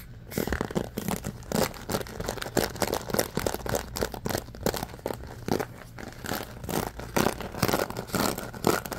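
A bamboo paddle hairbrush with a rubber cushion and pins is held in the hands while fingers scratch across the pins and rub the slatted bamboo back. The result is fast, continuous, crunchy scratching and brushing in rapid, uneven bursts, with most of the energy in the low and mid range and little bright hiss.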